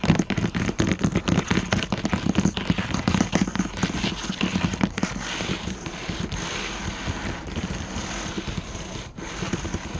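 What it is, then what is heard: Wooden table top. Several hands rapidly tap a solid wooden tabletop with a metal edge trim, using their fingertips and short nails. The first half is a dense run of sharp, dull knocks with a low thud. It then settles into a quieter, steadier patter of lighter taps and scratching.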